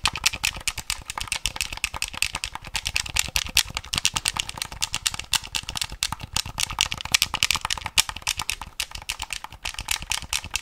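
A lime green plastic Game Boy Color handheld console with a hollow plastic shell has its buttons clicked and its case tapped with fingertips and nails. Rapid, dense, short, dry clicks and taps continue throughout, bright and crisp with very little low end.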